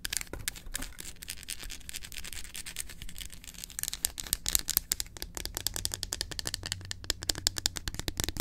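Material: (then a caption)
Chocolate. Long acrylic nails tap quickly on the segments of a solid dark chocolate bar held in hand. The result is a rapid, dense stream of crisp, bright clicks with almost no ring, over a faint low hum, growing sharper and more spaced out in the second half.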